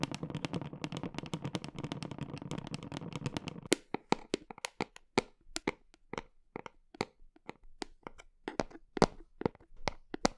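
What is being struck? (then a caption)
Plastic protein tub. Long nails tap the side of a large, hollow black plastic whey protein tub with a red and white label, cradled in an arm close to the microphone. For about the first four seconds, fast, dense tapping produces a low, hollow drumming. It then changes to slower, scattered sharp clicks that stop quickly.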